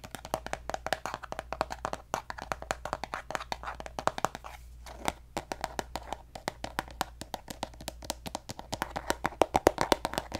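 Long nails tap and scratch a pink plastic lotion bottle held upright, producing rapid, dry, hollow clicks with almost no ring. The taps come in quick irregular bursts over a faint steady low hum, with a brief softer scratchy stretch near the middle before the tapping picks up again and grows louder toward the end.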